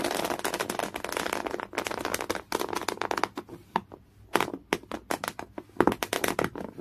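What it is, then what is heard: Coarse cotton canvas scratched. Fingernails scratch rapidly across a folded piece of thick, coarse, beige woven cotton canvas. The result is a dense, bright, rasping scratch with almost no low end. It runs nearly continuously for the first couple of seconds, then breaks into quicker separate strokes with short quiet gaps between them.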